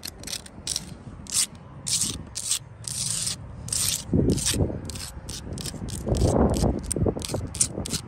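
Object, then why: Sandstone block wall. Long acrylic nails and fingertips scratch and tap the solid surface of an outdoor wall of rough brown sandstone blocks with mortar. Bright, gritty rasping strokes repeat in a quick, uneven rhythm, with softer, dull thuds from fingertip taps mixed in.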